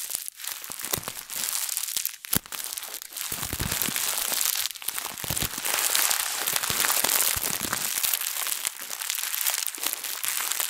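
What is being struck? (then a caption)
Thin plastic bag. A thin printed plastic bag, held in both hands, is squeezed and crushed with fingers and long nails for about ten seconds. It gives a dense, continuous run of bright, crisp crinkling and crackling with brief quieter pauses, mostly in the high range with little low end.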